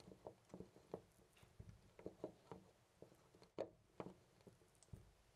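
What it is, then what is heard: Loose brass door knob. A hand repeatedly grips and jiggles a loose brass-colored metal door knob on a white door. About fifteen soft, dull clicks and rattles come through, each dying away almost at once, with a faint mid-pitched metallic tone. The loose knob rattles quietly and irregularly in its fitting.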